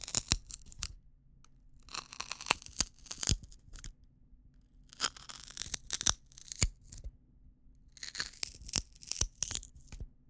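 A single long, thin, hollow, dry natural wheat-stalk drinking straw is held in both hands close to the mic while fingertips rub and pinch along its length. It gives bright, crunchy splitting and crackling in several bursts separated by short pauses, over a faint steady low hum.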